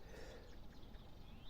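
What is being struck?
Nothing is struck.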